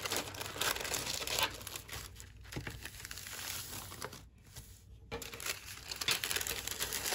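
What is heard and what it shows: Thin pink metallic tissue paper on a table is lifted, folded and creased with both hands, while fingertips and long nails crinkle and rub the sheet. Dense, bright, irregular crinkling and rustling comes in quick bursts, with a brief near-silent pause a little past the middle before the crackling resumes.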